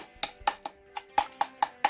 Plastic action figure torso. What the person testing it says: it sounds hollow and that's because it is hollow